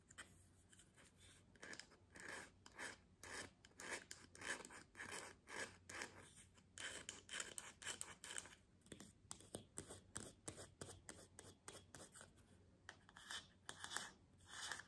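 Long fingernails scratch a round bamboo jar lid held in the hand, while the jar sits untouched on the table. Quiet, irregular bursts of dry, raspy scratching carry a bright, hissy edge, and each stroke stops short with almost no ring. A faint low hum runs underneath throughout.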